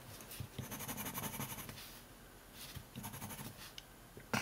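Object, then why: Paper sheet and wooden colored pencil. A wooden colored pencil, held in the fingers, rubs and scratches back and forth across a thin printed coloring sheet lying on a wooden table. Soft, dry, scratchy strokes come in quick rustling bursts with bright hiss. They pause briefly, then end with a sharper, louder scrape.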